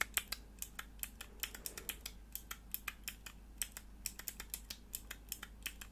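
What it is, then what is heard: Plastic mechanical keyboard switch tester. Long nails click the grey plastic keycaps and scratch the hollow body of a small clear plastic mechanical keyboard switch tester with four mechanical switches, held in the hands. About 33 sharp, bright, dry clicks come in an uneven, fast rhythm, each dying away almost instantly. A steady low hum runs underneath.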